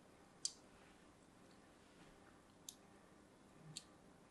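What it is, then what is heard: Bar soap scored with a small blade. A small metal blade scores lines into a hand-held, orange-and-white striped solid bar of soap. Three short, bright scratching clicks stand apart against a quiet background, each dying away almost at once.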